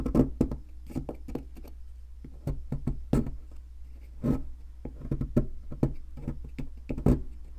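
A metal chisel knocks and scrapes at a solid white plaster fossil excavation block, chipping off crumbs. Short, dull taps and gritty scrapes come in an uneven run over a steady low hum, with little bright content and almost no ring after each hit.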